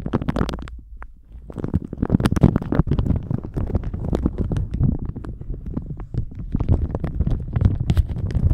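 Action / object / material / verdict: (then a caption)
scrape / thin plastic shower cap / plastic / none. A thin plastic shower cap stretched over a microphone is crinkled, squeezed and stretched with the fingertips. It makes a dense, muffled run of crackles and rubbing thuds, heavy in the low end with brief bright crinkle ticks, after a short quiet gap near the start.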